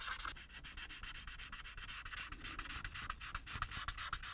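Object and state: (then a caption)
Marker coloring on a paper sheet. A felt-tip plastic marker held in the fingers rubs across a thin printed paper coloring sheet with a Harry Potter picture lying flat on a surface, making rapid, repeated coloring strokes. Each stroke is a short, bright, scratchy rub that stops almost at once, coming at an uneven pace of roughly four strokes per second over a faint low rumble.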